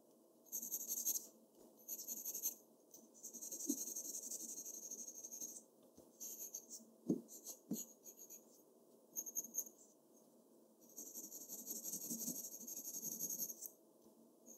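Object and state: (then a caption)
Pencil drawing on paper. The graphite tip of a black Faber-Castell pencil, held in the fingertips, draws across a large flat sheet of white drawing paper on an easel or board. Bursts of bright, scratchy pencil strokes come and go with short quiet pauses between them, along with a few brief soft taps.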